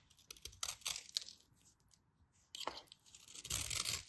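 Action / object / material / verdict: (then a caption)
scrape / bar of soap / soap / none. A craft knife scrapes and carves a solid white bar of soap held in the hands, shaving it into powdery flakes. The sound is a series of crisp, bright, crackly scraping bursts, mostly high-pitched with little low end. Two busy stretches are separated by a near-silent pause in the middle.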